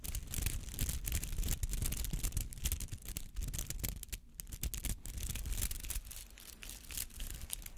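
Fingernails scratch the bristly petals of a palm-sized rubber artificial flower held near the mic. The result is a quick, irregular run of dry, brushy scratches with bright hissy bursts over a heavy, muffled low rumble.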